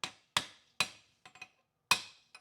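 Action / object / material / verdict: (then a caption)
tap / aluminium transmission case / aluminium / seated. An automatic transmission case on a W4A33/F4A33 (DSM Mitsubishi) is tapped down during final assembly after its bolts are started. Four sharp, bright taps with very short ring are heard, along with a few softer knocks in between and at the end. The solid, dead thud shows the housing is fully seated.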